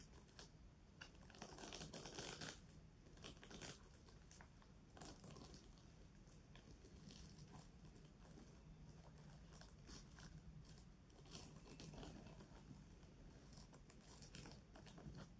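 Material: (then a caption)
Plastic. A pink plastic sequin fabric pouch is held in both hands while long nails scratch and tap across the sequins. The result is a quiet, steady stream of dry, crinkly scratching with bright, sparkly rustles and soft clicking taps, swelling in brief louder bursts throughout.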